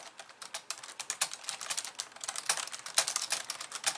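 Long polished nails type rapidly with both hands on a compact pink and white plastic computer keyboard resting on a wooden desk. A dense, irregular stream of sharp, bright plastic clicks and taps is heard, with almost no low end. Each keystroke dies away almost instantly.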